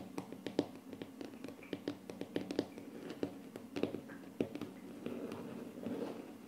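The short painted nails of both hands tap on a flat, solid wood-look laminate tabletop, producing a quick, uneven series of dry, clicky knocks with almost no ring and a low-mid body. Toward the end, the taps blend into a softer, continuous brushing texture.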